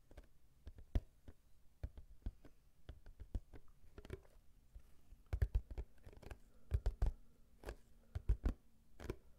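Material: Cardboard.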